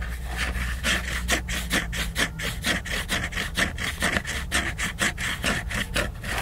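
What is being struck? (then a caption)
Laminated paper book cover. Fingernails scratch the glossy laminated cover of a large picture book in quick, slightly uneven back-and-forth strokes, about two per second. Each stroke is a dry, bright rasping rub with a brighter band near 2 kHz, over a steady low hum underneath.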